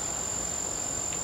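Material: Nothing is struck.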